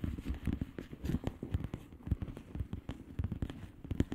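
Long manicured nails rapidly tap and occasionally scratch a flat plastic bubble wrap mailer with hollow air bubbles. The result is a quick, uneven stream of short, dull, low thuds with soft crackly scratching between them and almost no bright edge.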